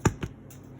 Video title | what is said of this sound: Basic white bread, focaccia style | Sounds nice and hollow from the inside